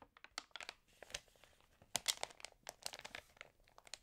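Long fingernailed fingertips rub and tap across the surface of an open glossy-paper magazine, possibly water-damaged, then turn a page. A quick, irregular run of short, crisp crinkles and clicks follows. The sound is quiet and bright, with almost no low end.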